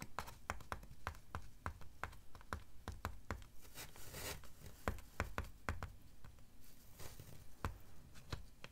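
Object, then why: Styrofoam sheet. Long dark fingernails tap and scratch along the front edge of a large, flat, white slab of solid styrofoam. A steady run of short, dry clicks with a dull low body is broken by airy, bright scratching swells near the middle and toward the end.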